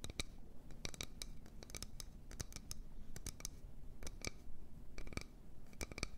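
A wooden bowl is tapped and scratched in quick, irregular bursts. Crisp, dry clicks with bright high edges stand out over a soft scratching texture and a steady low rumble, each tap dying away almost at once.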